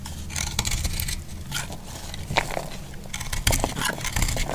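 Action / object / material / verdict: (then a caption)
scrape / heart-shaped bar of soap cut with a metal blade / soap / none. A metal blade cuts and scrapes a solid, dry heart-shaped soap, making a run of dry, crackly scraping strokes with bright, crumbly texture over a low rumble. The short, sharp cuts come in quick succession without ringing.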